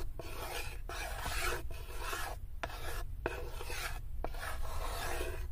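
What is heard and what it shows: Long nails scratch across the inner floor and side of a light, unfinished wooden serving tray that is open and empty. The result is a steady, rasping scrape in repeated strokes with brief pauses between them, bright and gritty over a constant low rumble.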